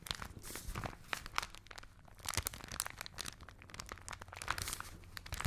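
A folded newsprint newspaper is held in both hands close to the microphones and crinkled, squeezed and rubbed with fingertips and long nails. It makes a steady stream of dry, bright crackles and rustles with sharp crunchy snaps and a soft low rumble under them.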